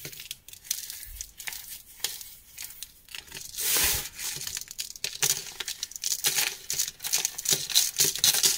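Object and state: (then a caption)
Black dyed chalk chunks being crushed. Small, solid, crumbly chunks of black-dyed gym chalk are crushed and crumbled between bare fingers and palm over a pile of black powder. The result is a dense run of dry, bright crunching and crackling with many short snaps. A smoother, hissing crumble swells briefly near the middle.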